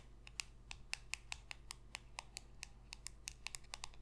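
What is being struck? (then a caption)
Glossy cardboard trading card tapped with long nails. Long pink acrylic nails rapidly tap a small, thin, solid glossy cardboard football card (No. 27) held in one hand. Nineteen quick, dry clicks ring out in a fast, typing-like patter, each sharp and bright with a pitch near 2.7 kHz and almost no ring. A faint low hum sits steadily underneath.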